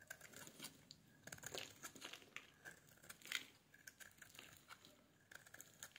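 A metal blade scrapes a solid pale pink bar of soap, shaving off thin curls. The sound is a quiet run of crisp, crinkly scrapes with a bright, hissy edge, coming in uneven bursts with short pauses between them.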